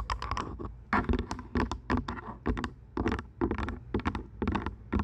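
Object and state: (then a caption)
Plastic headphones. Long nails tap the headband and earcups of purple plastic over-ear headphones resting on a microphone. Quick, dry plastic clicks come in irregular clusters, each dying away almost instantly, over a steady low rumble.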